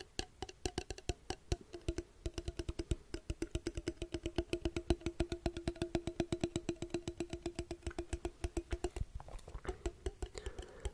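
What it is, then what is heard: Empty glass jar with metal lid. A small, clear, empty, hollow glass jar with a copper-colored metal lid is held near the microphone and tapped with the fingertips. A rapid, steady run of short, dry, wood-block-like taps rings with a hollow tone around 344 Hz. Near the end the taps turn softer and more scattered.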